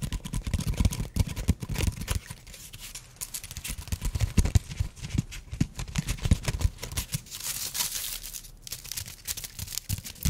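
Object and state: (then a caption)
Wooden block. A small, flat, solid light-brown wooden block is held horizontally and tapped and scratched with fingertips and nails. Rapid, irregular soft taps with dull low thuds mix with bright, dry scratching rasps. The clicks are short and die away almost instantly.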